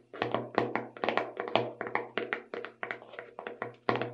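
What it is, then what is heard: Plastic sprinkles tub. Long red nails tap the lid and sides of a small clear plastic tub full of colorful sugar sprinkles with a purple label on the lid. A quick, uneven run of about two dozen light, hollow plastic taps sounds over a faint low hum. Each tap dies away almost at once.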